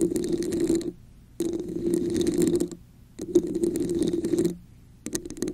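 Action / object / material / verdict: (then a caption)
scrape / textured plastic cup / plastic / none. Long nails scratch the top and sides of a red, hollow, textured plastic cup placed over the microphone. Four bursts of dense, rasping scratching are separated by brief pauses, with the last one cut short. A hollow resonance near 350 Hz sits under a bright, gritty texture.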